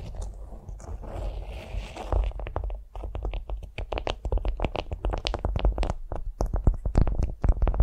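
A flat beeswax-coated cotton food wrap lying on a vinyl mat is scratched and tapped with long nails. A soft, papery scraping rustle over a low rumble gives way after about two seconds to a quick run of crisp, dry taps and scratches that die away almost instantly.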